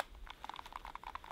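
A light Fiskars builder's knife is shaken in its plastic sheath to test retention, producing a quick series of short, dry clacks around 800 Hz as the blade wobbles loosely inside. The fit is loose, but the knife stays in and only comes out if the sheath is shaken hard upside down.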